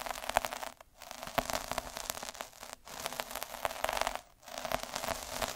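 A metal-needle derma roller is rolled back and forth on a red felt sheet, giving a dense, bright crackling rasp with a faint ringing tone around 700 Hz. The scratchy strokes run continuously, broken by three brief silent pauses where the roller changes direction.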